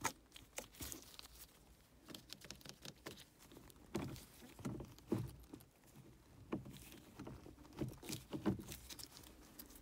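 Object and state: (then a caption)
Leather gear lever boot. Gloved fingertips and nails rapidly scratch and tap a black stitched leather or faux-leather gear stick boot on a car console, which is soft and hollow underneath. The result is a quiet, quick patter of soft muffled taps with a low-mid thump near 195 Hz, mixed with bright scratchy rustles, each dying away almost at once.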